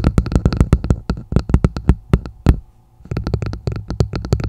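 A red plastic martini glass turned upside down over a microphone has its hollow bowl tapped and scratched with long acrylic nails using both hands. Quick, deep, hollow clicks and thumps come in a rapid series, each dying almost at once, with a short pause before the tapping resumes.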